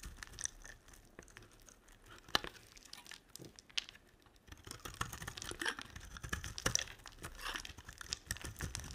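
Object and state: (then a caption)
Glycerin soap bar being scraped. A utility knife blade scrapes across a solid yellow translucent glycerin bar soap, and the shavings pile up. Dry, crisp scratching and crinkly crackles come in short bursts, quieter at first and then denser and louder in the second half.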